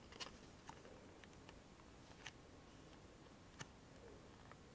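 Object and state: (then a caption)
Small cardboard box, empty. A small, hollow, empty-looking printed cardboard Rescue Remedy medicine box is held in both hands and tapped and scratched with long fingernails and fingertips. Six quiet, short, crisp taps ring out over a soft, steady scratchy hiss, each dying away almost instantly with a bright click.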